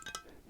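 Quick taps on the heavy metal keel of a small wooden model sailboat give off a short, bright, chime-like ring around 1.3 kHz that fades within a fraction of a second. The keel makes a nice ringing sound.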